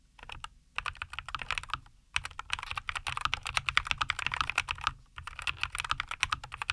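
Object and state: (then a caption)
Mechanical keyboard with plastic keycaps. Both hands type continuously with their fingertips on a compact 75% NuPhy Air75 V2 mechanical keyboard with linear Cowberry switches, a white case, and green and white plastic keycaps, resting on a wooden desk. Rapid, crisp clacks come in bursts separated by brief pauses. Each keystroke is a short, dry, bright click centered in the mid range with almost no ring.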